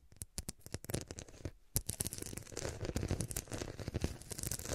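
A cushion covered in faceted glass studs is held at both sides while long nails scratch along the studs at its edges. Short, dry clicks and scrapes come in quick irregular bursts, sparse at first and then denser and more continuous. The strokes have a low thud beneath and a bright edge, and each fades almost at once.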